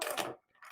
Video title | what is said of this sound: Zodiac Sea Wolf GMT Crystal By Topper Jewelers and Eric Singer. | doesn't make a lot of noise